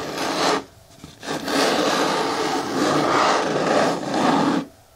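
Long nails scratch and rub the front wall of a hollow, medium-hard green plastic bin with a lid. A dry, broadband rasping scrape runs for about half a second, then after a brief near-silent gap continues steadily for roughly three seconds before stopping abruptly.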